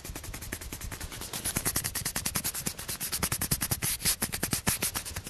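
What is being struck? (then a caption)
Plastic ping pong ball. A small, hollow orange plastic table tennis ball held in the fingers is tapped and scratched rapidly with fingertips and nails. The result is a dense, fast stream of short, crisp clicks and scratchy rubbing, bright and hissy on top with soft low thumps underneath, each tap dying away almost instantly.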